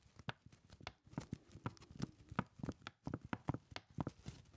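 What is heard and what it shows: A crumpled brown kraft paper lunch bag, hollow with its top folded and held in both hands, is tapped rhythmically with the fingertips. The quick, dull, low-heavy taps have a faint papery crinkle and form a soft clip-clop-like pattern at a quiet level.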